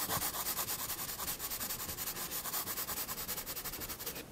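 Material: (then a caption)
Paper. A graphite pencil makes short shading strokes on the lower part of a drawing in a spiral paper sketchbook lying flat on a desk, scratching its lead over the paper surface. A steady, rapid series of bright, hissy scrapes repeats evenly, then the last stroke fades out at the end.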